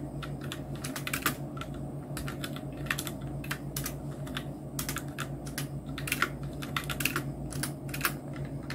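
Both hands type steadily on a full-size black Nubwo Illusion NK-70 mechanical keyboard with Outemu red switches, round plastic typewriter-style keycaps and blue backlight. The result is a stream of light plastic clacks and taps over a constant low hum, with keystrokes bunching into quick clusters.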